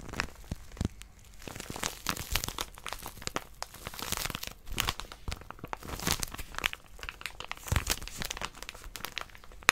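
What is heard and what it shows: Long nails grip, scratch and squeeze a small white plastic-wrapped paper packet with a barcode. The crinkly wrapper gives a steady stream of sharp, bright crinkles and crackles with soft scratching between them. Each sound stops at once with no ring.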